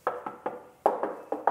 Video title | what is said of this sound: DARIPADA STYLO 160/GRAND FILANO, Mending Beli Vespa Metik Bekas⁉️ | kalian ketokin tuh ... ini semua besi jadi ini bukan plastik